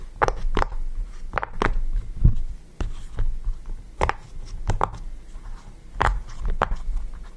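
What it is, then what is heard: Silicone pop-it fidget toy. Fingertips press and pop the bubbles of a yellow round silicone push-pop fidget toy resting on a table. Short, soft, dull pops come at an irregular pace, each dying away almost at once, with most of the energy low and very little brightness.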